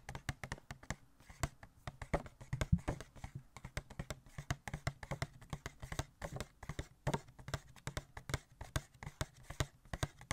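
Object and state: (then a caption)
Cardboard collectible box with plastic window. Fingertips tap on a small, hollow Catwoman Funko Pop cardboard box with a clear plastic window and the figure inside, making dozens of quick, dull knocks in an uneven rhythm for about ten seconds. Each tap is short and dry with almost no ring, and the sound is heavy in the low end with a faint hollow thump.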